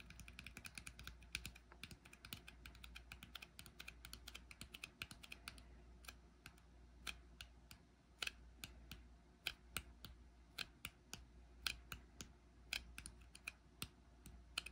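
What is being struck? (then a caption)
Metal jar lid on a small glass jar. Fingertips tap and scratch the flat surface of a brushed silver metal lid on a small frosted glass jar held in the hand. The result is a steady run of quick, sharp, bright clicks with almost no ring, over a faint low hum. The taps are dense at first and become more spaced out later.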